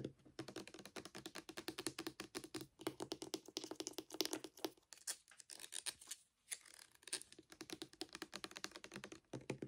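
A full, roughly 500 ml clear plastic pump bottle of red Palmolive hand soap is held in one hand and tapped quickly with the fingernails of the other hand. Rapid, dry, clicky taps come in dense bursts, with a few brief pauses, most noticeably around the middle. Each tap is short and bright with a slight hollow mid-range knock and almost no ring.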